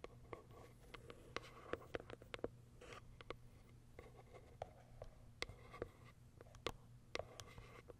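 Long acrylic nails tap on the top and the plastic window of a small white Kiara Sky cardboard box. The result is a quiet, irregular run of short, dry clicks and taps, some brighter and sharper, over a faint steady low hum. Each tap dies away almost instantly.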